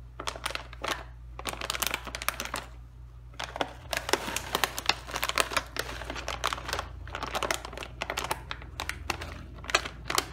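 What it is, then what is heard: Metallized plastic chip bag. Both hands hold a sealed, full, medium-size Doritos Taco tortilla chip bag of crinkly metallized plastic film, puffed with air, flipping it over and rubbing and pressing its surface with their fingertips. Dense bursts of sharp, bright crinkling and crackling come in irregular clusters with brief pauses between them. A faint, steady low hum sits underneath.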